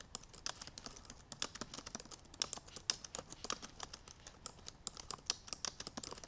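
Long purple nails type quickly on the black plastic keys of a silver aluminum MacBook Pro laptop. The result is a steady stream of short, bright, clicky taps with almost no low end, each dying away at once.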